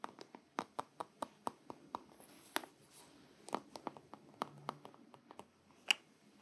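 A small, probably filled black soft plastic squeeze tube of shaving cream is held upright in both hands and tapped with the fingertips and long nails. The result is a quick series of sharp, dry clicking taps with a bright top and no ring, over faint rustling and a low hiss.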